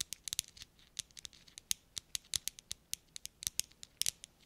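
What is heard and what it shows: Four small hollow metal thimbles, worn on the fingertips of black rubber gloves, are clicked and tapped against each other in front of the microphones. About twenty short, bright metallic ticks come in an uneven rhythm, each dying away almost instantly with almost no low end. Faint rubber glove noise may also be audible.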